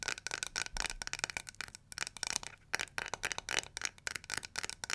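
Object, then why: Plastic hair brush with bristles. Long nails scratch the bristles and tap the plastic back of a small, round, pink-and-yellow, flower-shaped plastic detangling hair brush. The result is a quiet, rapid run of bright, crisp scratches and dry clicks with almost no low end. Each tap stops dead, with brief pauses between bursts.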